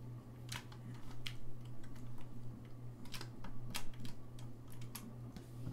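Fingertips press and tap the keys of a hollow, gold-lacquered brass saxophone, producing rapid, irregular, sharp clicks with bright, short transients. A steady low hum runs underneath throughout.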